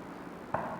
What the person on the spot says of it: The sound you hear, knock on wood. It is not knock on table.